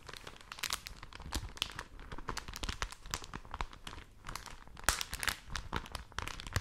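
A folded thin newsprint supplement is crinkled and squeezed close to the microphones with fingertips and long nails, then unfolded and held open. Dense, bright crackles and crinkles run throughout, with a few sharper, louder crunches standing out from the steady rustle.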